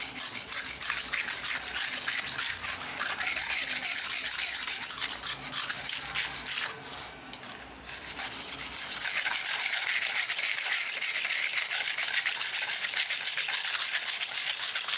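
A steel knife edge is rubbed back and forth across a dark grey solid whetstone, with fingertips pressing down on the blade to sharpen it. The result is a steady, bright, gritty scraping rasp that briefly pauses around the middle before resuming at an even pace.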